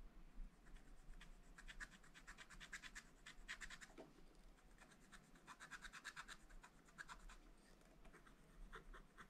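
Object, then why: Wax-coated scratch-art paper page scratched with a wooden stylus. A wooden stylus held in the fingers scratches lines into a black, wax-coated scratch-art page in a small spiral-bound pad, the thin flat paper lying on a table. Quick, dry, bright scratching strokes come in rapid bursts, with a brief lower scrape near the middle, over a faint steady low hum.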